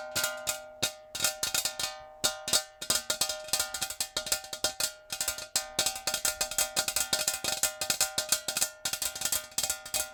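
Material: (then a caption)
Metal. A metal jar is tapped rapidly with natural fingernails in quick, uneven bursts with brief pauses. Each tap gives a bright, sharp click over a ringing metallic tone with steady pitches in the mid range, decaying quickly between strikes.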